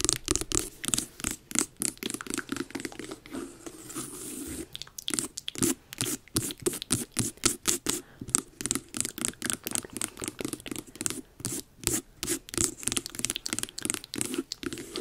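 Long nails scratch and tap the rind of a medium hollow carved jack-o'-lantern pumpkin near the top and its carved eye. The result is a dense run of short, crisp clicks and bright scratchy rasps with a hollow, woody body and almost no ring.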